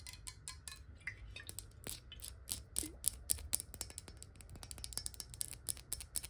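Long nails tap and scratch rapidly along a clear square glass water bottle with a ridged base, held sideways and partly filled with water. The result is a dense stream of quick, bright clicks with high glassy pings that die away almost at once, over a soft low rumble.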